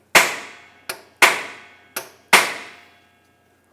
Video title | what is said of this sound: How to Replace Rear Axle Shaft Repair Bearing 1978-1987 Chevrolet El Camino | the sound goes from a hollow sound that resonates through the whole tube to a solid sound because it has hit the end of the tube